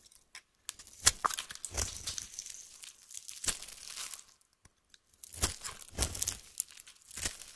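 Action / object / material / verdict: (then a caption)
scrape / soap bar cut with a metal knife / soap / none. A metal knife slices a solid orange bar of soap held in the hand into shavings and strips, making crisp, bright scraping and crunching cuts. The strokes come in quick bursts with a short pause in the middle, each ending abruptly with no ring.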